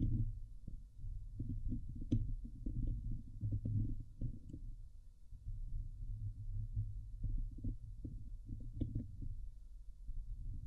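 Long glitter nails on both hands scratch the hollow, domed wire-mesh grille of a Blue Yeti microphone. The result is a dense run of rapid, muffled, low thumping and rubbing strokes that stays deep and boomy, with only occasional brief brighter scrapes and a short pause around the middle.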